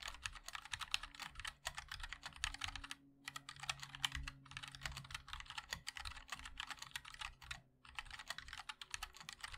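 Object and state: Mechanical keyboard with plastic keycaps.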